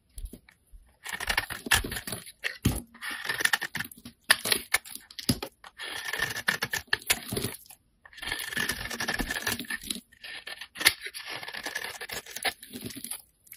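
A hand-sized solid white bar of soap, held in the fingers, is scraped and carved in layers with a metal utility knife blade. Bursts of dry, crisp scraping and shaving come in clusters separated by short pauses, bright and papery with a faint high-mid whistle and very little low end.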